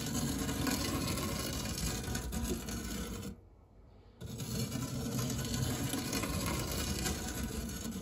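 A silicone spatula rubs and scrapes across the textured, cake-crumb-dusted base of a large round dark grey non-stick metal tart/cake tin with a fluted rim. It makes a dense, rapid, gritty scraping that pauses briefly to near silence partway through, then resumes just as steadily to the end.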